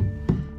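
A single knock on plasterboard glued to concrete with adhesive (GL bonding) gives a low, hollow, booming thud centered around 190 Hz that dies away in about a tenth of a second. The resonance shows a hollow wall with no backing behind the board, unsuitable for hanging heavy objects.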